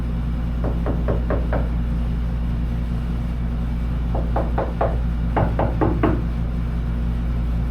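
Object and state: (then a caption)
Sound-deadened steel truck cab panel, damped (not tinny). Knuckle-light taps land on the outside of a steel 1941 Chevy truck cab panel that has been lined inside with sound deadening and foam, in three quick runs over a steady low hum. Each tap is a short, dull knock with no tinny ring, as the deadening damps the sheet metal.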